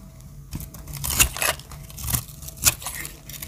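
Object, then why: Soap bar cut with a small metal blade. A small metal blade cuts and shaves the edges of a solid, dry soap bar with black stripes and pastel chips, held in the hand. Crisp, bright scraping strokes come in short, irregular bursts with a low background hum. Each shave ends abruptly with almost no ring.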